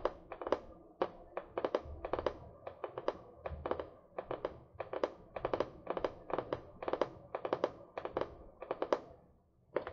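Long nails tap the cardboard cover of a medium spiral notebook, solid paper, held upright near the mic. A quiet, quick series of crisp, dry taps comes in small clusters, each click short with a mid-pitched papery knock and almost no ring.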